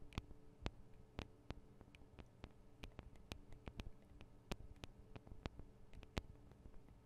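Long acrylic nail tips tap rapidly on the two small hollow microphone capsules of a Tascam DR-40 recorder, which have metal and plastic housings. Sharp, dry clicks with almost no ring sound close and quiet, spaced irregularly over a low, steady hum.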